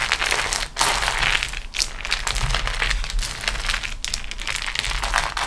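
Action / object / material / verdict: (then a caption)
scrape / beeswax-coated cotton food wrap / waxed cotton / none. A beeswax-coated cotton food wrap sheet is rolled and pressed on a table with fingertips and long nails. It gives off continuous bright crinkling and crushing crackles, with brief quieter pauses between the presses.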